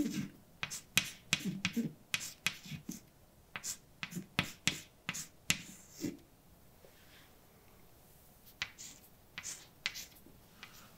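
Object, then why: Chalk on a blackboard. A hand writes letters with white chalk on a large, dark, flat chalkboard, making about 21 sharp, bright taps and short scrapes with low knocks underneath. After a quiet pause in the middle, a few lighter taps follow.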